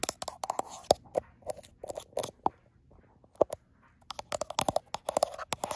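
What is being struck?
Smartphone glass back.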